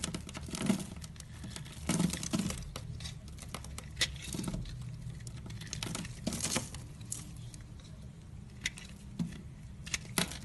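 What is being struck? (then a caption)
Bar soap. A metal utility knife blade scrapes and slices along the face of a solid, dry purple bar of soap held in the hand, and small cubes crumble off its pre-scored surface. Soft, crackling patters and brief, bright scraping bursts rise over a steady low hum. Louder crisp cuts stand out at intervals.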